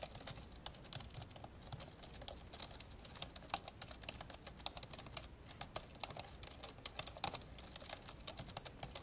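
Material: Plastic.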